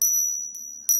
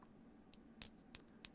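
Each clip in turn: First: counterfeit silver coins. Second: counterfeit silver coins.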